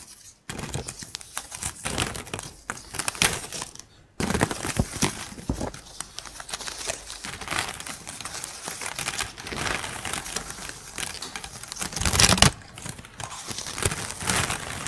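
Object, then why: Pile of plastic drinking straws. Long pink acrylic nails tap, scratch and shuffle through a pile of colorful, empty, hollow plastic drinking straws. The result is a dense, bright stream of crinkly clicks and plasticky rattles, with brief pauses near the start and around four seconds and a louder flurry just past twelve seconds.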